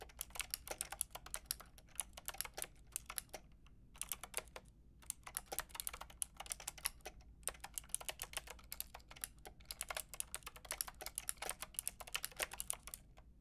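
Fingertips with long red nails type rapidly on a Lofree mechanical keyboard with a white plastic case and round pink and grey plastic keycaps. The result is a dense stream of sharp, bright, clacky key taps with a few brief pauses, over a faint steady low hum.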